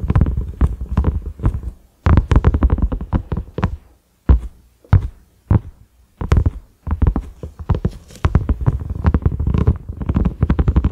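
A large, flat cream silicone pot lid with concentric ridges and a black center knob is tapped with the fingertips and short nails of both hands. It gives soft, dull, low thuds with very little ring. The taps come in quick, uneven bursts separated by brief pauses, with a few single isolated taps.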